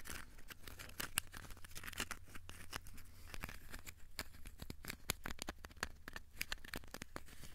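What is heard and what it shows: Fingertips tap and scratch a small, solid, crumpled ball of aluminium foil, making quiet, rapid, crisp clicks and bright crinkling scrapes. The sharp taps die away instantly over a steady low hum.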